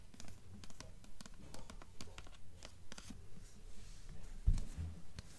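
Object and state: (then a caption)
Hardcover book with paper dust jacket. Long nails tap a solid blue hardcover novel in a paper dust jacket, striking the cover and the top edge while a hand holds the book. About sixteen short, dull taps fall in a steady rhythm with faint papery scratching and bright clicks over a low thump. One firmer tap near the end stands out louder.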